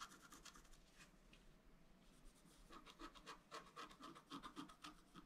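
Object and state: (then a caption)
Scratch art card being scratched. A bamboo stylus scratches small details into the black wax coating of a flat scratch art card held down by the other hand. Soft, dry scratching strokes come quietly and irregularly at first, then sharpen into a quicker run of short, bright scrapes with a faint papery hiss.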